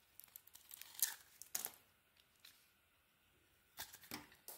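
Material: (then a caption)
Soap. A small metal blade shaves curls off a solid pink-and-white bar of soap held in the hand. Quiet, bright, crisp scraping strokes come in irregular bursts, with a pause in the middle before a few more cuts.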